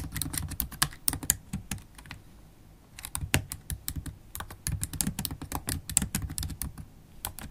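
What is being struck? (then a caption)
Laptop keyboard, plastic keys in a metal body. Long holographic acrylic nails type steadily on a MacBook Pro keyboard with black plastic keycaps in an aluminium body, tapping the keys with nail tips and fingertips. Quick, bright clicky taps with a soft low thud come in dense bursts, with a short pause near the two-second mark before the typing resumes.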